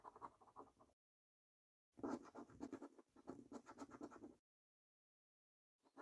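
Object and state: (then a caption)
Scratch card being scratched with a coin. A coin scratches the latex coating off a thin, flat paper £15 National Lottery 3x £1 Million Snack Stack scratch card. Bursts of quick, rasping scraping strokes are broken by silent pauses, with a short last scrape at the end.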